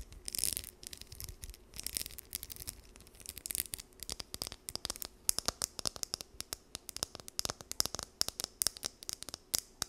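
Long nails scratch and strum the teeth of a small, solid, blue plastic wide-tooth comb. Soft, bright scratchy bursts in the first few seconds give way to a rapid run of sharp, dry, high plucks and clicks that stop instantly with no ring.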